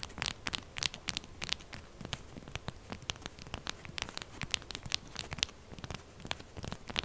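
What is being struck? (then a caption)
Bar soap. Long purple nails and fingertips aggressively scrape and tap a solid, upright, textured pink bar of soap, leaving soap flakes on the table. The result is a fast, dense run of crisp, bright scratches and crackly clicks with very short decay over a soft background hiss.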